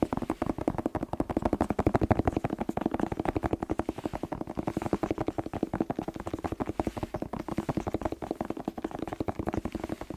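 A whole, fresh, hollow red bell pepper, held on its side, is tapped rapidly with fingertips and short nails. The result is a dense, steady stream of quick, dull, hollow taps that stop almost instantly, with their body in the low-mids and little bright content.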